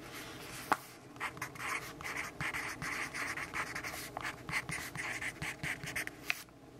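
A pencil tip scratches across the page of a lined paper notebook in dense writing strokes. A steady run of short, bright, papery scratching bursts rises and falls, centered around 2 kHz, with a couple of sharp ticks as the point strikes the page. Little low end sounds under a faint background hiss.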